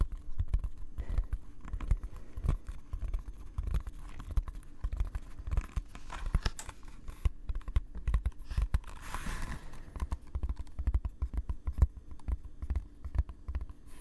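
Fingers tap and scratch the leather-wrapped cover of a first hand-bound book, producing a dense run of soft, dull, low thumps with quick scratchy brushing in between. The taps are short and damped with almost no ring, and a brief brighter scratching swell rises near the nine-second mark.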